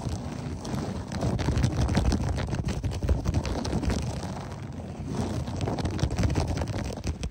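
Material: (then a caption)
Textile. Both hands rapidly scratch a beige, textured berber loop-pile carpet on the floor with fingertips and short nails, with the fingers sometimes close to the microphone. The result is a dense, continuous, low-heavy scratching and rustling that swells and eases in loudness.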